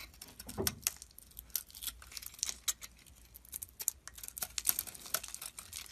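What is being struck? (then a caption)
Bar of soap shaved with a metal blade. A metal blade shaves flakes off a solid oval soap bar with a dark red coating and a white core, held in the palm. Quiet, crisp scraping and crackling cuts repeat in quick, irregular bursts, bright and dry with almost no low end or ring.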